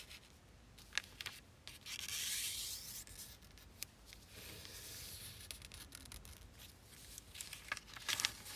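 A single thin square of zebra-print origami paper, folded into a triangle and lying flat on a black surface, is creased and rubbed flat with fingertips and long painted nails in a sliding rub and scrape, with two finished paper zebras untouched beside it. The result is a soft, bright, high paper rustle with longer swishing scrapes and scattered sharp ticks and crinkles of the nails catching the paper.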